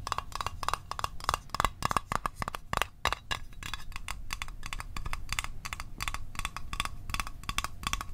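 Fingernails tap rapidly on a small, hollow, closed blue Altoids metal tin held in the hands. The taps are quick, dry clicks with a short tinny ring near 1.1 kHz and bright edges, over a low rumbling background.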